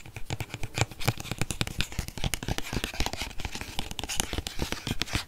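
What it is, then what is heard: Plastic body wash bottle. A medium white plastic Dove body wash bottle, hollow and apparently filled, is held in one hand close to the mic and tapped and scratched with fingernails. Quick, irregular taps give short dull thumps with little ring, mixed with bright, dry scratching that continues throughout.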